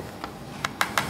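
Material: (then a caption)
Plastic. Five light knocks on a plastic security camera body, the housing of the cheaper camera model. Each tap is short, dry and hollow-sounding, centred in the upper mids with almost no ring, and the last four are louder than the first.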